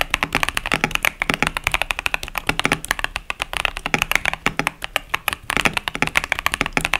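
Fingertips type steadily on the plastic keycaps of a 65% plastic mechanical keyboard, a KBD67 Lite with tactile Boba U4T switches, resting on a desk mat. About fifty short, bright, clacky keystrokes sound in a quick, uneven rhythm, each centered around 2.2 kHz and dying almost instantly with very little low end.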